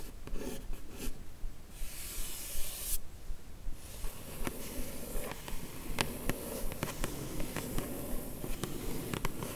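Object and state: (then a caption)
Rigid cardboard gift box being scratched. A long fingernail traces and scratches the lid of a closed, hollow, yellow rigid paper-covered cardboard beauty gift box, then the nails of both hands rest on the lid and scratch it. The result is soft, dry scraping and rubbing with a low hollow body, bursts of bright hiss, and short, sharp nail clicks that die away almost at once.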